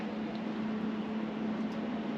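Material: Nothing is struck.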